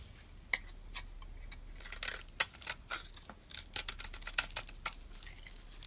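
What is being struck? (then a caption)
Solid bar of soap. A hand-held solid bar of soap, purple on the outside with a white core, is scraped and shaved with a metal utility-knife blade. Sharp, bright clicks and crisp rasping scrapes come at an irregular pace over a faint steady background. Each stroke is mostly high in tone and dies away almost instantly.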